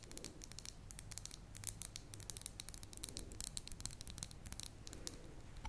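Long nails tap and scratch the silver metal screw lid and rim of a medium glass jar filled with solid lilac wax, in quick ticking strokes. The result is a rapid, dense stream of bright, dry clicks and scratchy ticks that die away almost instantly, over a steady low hum.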